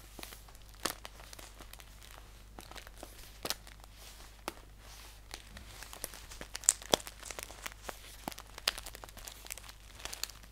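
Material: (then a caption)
Paper. Fingernails scratch and tap across the surface of a green paper tea pouch lying flat. Quiet, dry crinkling scratches are broken by sharp, bright clicks that stop instantly, over a faint steady low hum.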